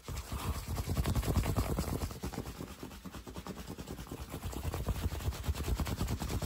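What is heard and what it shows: A green fabric baseball cap, worn on the head, is scratched and tapped up close with fingertips and short nails. The result is a fast, dense stream of dull, low, muffled thumps and soft scratching that stays loud for the first two seconds, dips slightly in the middle, and builds back up.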